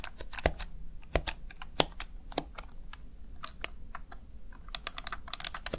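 Fingertips tap and press the keys of a small backlit plastic Razer Tartarus Chroma gaming keypad, seen from the side, in a steady run of quick, crisp clicks. Each keystroke is a short, bright tick with a faint low thump under it. The clicks come in irregular bursts, with a denser flurry toward the end.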